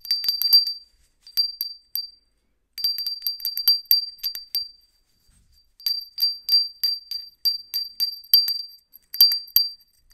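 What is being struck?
Small ceramic hand bell.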